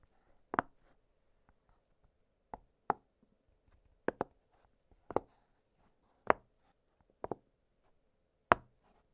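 Fingertips press the bubbles of an octagonal blue silicone push-pop fidget toy, producing about ten short, dry pops at uneven intervals, some in quick pairs. Each pop is a soft, bright snap centered around the midrange, with almost no ring, separated by near silence and a faint steady background hum.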